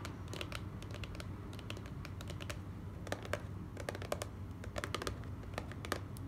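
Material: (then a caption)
Cardboard. A small, hollow, closed white cardboard gift box is tapped quickly with the long nails of both hands. The taps come as a rapid, uneven stream of short, dry, bright clicks over a steady low hum, each dying away almost at once.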